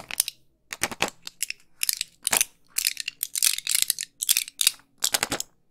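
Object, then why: Plastic and foil pill blister pack. A small, flat pill blister pack, still full of pills, with clear plastic bubbles over an aluminium foil backing, is held in both hands and tapped and scratched with long pink nails. Quick bursts of bright, dry crinkling clicks and scratches come one after another, with almost no low end and no ring after each touch.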